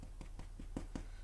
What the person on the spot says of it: tap it sounds hollow then that's usually a good sign that it's done